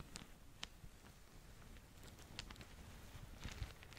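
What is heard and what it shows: Long nails scratch and crinkle a small, soft, filled green polka-dot satin/organza drawstring gift bag with a ribbon bow while hands squeeze it. The result is quiet, soft fabric rustling with brief bright scratchy ticks over a low, steady rumble.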